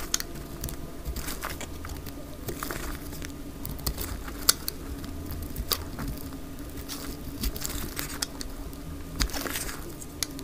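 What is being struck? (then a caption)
Bar soap shaved with a blade. A dry orange bar of soap, held in the hand, is shaved along its edges with a utility knife blade, and the flakes fall onto a grey cloth. Crisp, scratchy crackles and sharp bright snaps come in quick irregular bursts over a low, steady hum.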